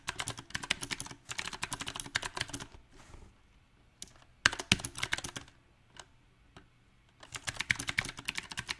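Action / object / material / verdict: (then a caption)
tap / mechanical keyboard with round plastic keycaps / plastic / none. Fingertips type on a backlit compact mechanical keyboard with round, typewriter-style plastic keycaps on a silver metal frame. Quick bursts of bright, sharp key clacks stop short, broken by pauses of near-silence. A few isolated heavier taps fall in between.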